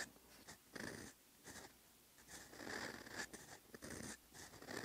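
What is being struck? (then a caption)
Steel pen nib on lined paper notebook page. A steel fountain pen nib scratches across a flat, lined paper notebook page, writing Korean letters over earlier lines. Short bursts of dry, bright scratching strokes alternate with brief quiet pauses.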